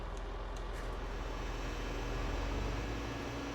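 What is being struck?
Nothing is struck.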